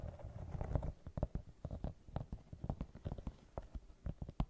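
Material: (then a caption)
Rubber. Long nails scratch across the tread pattern of a brown rubber sneaker sole with a white rubber rim. A dense, low scratchy rustle in the first second gives way to a quick, irregular run of short, dry scrapes and taps. The sound is muffled and bass-heavy, with no bright ring.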